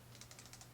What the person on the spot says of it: this is plastic.